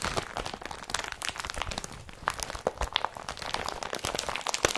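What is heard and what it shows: Hands twist, crumple and squeeze a blue woven polypropylene IKEA BRATTBY carrier bag. The result is a dense, continuous run of crisp crinkling and crunching with bright, sharp crackles throughout.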